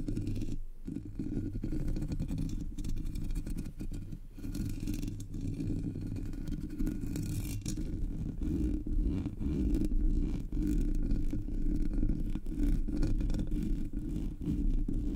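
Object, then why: Metal mesh microphone grille. Long nails tap and scratch the sides and top of the hollow black metal mesh grille on a Blue Yeti microphone. The result is a steady, dense, low scratching rumble with rapid soft taps running throughout, carrying little high-end brightness.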